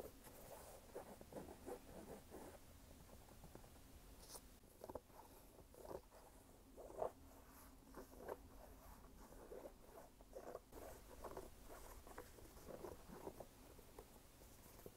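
Fingertips tap and scratch the canvas upper near the laces of a single red canvas sneaker with a rubber sole, held hollow and empty in the palm. Soft, dry scratching and light patters recur at low level, with small brief taps standing out above a faint low hum.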